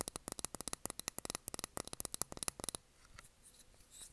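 Long nails tap quickly on a small glass candle jar filled with blue wax, with its cork lid on, making about twenty crisp, bright clicks that die away almost instantly. The tapping stops after nearly three seconds, leaving only faint, soft brushing sounds.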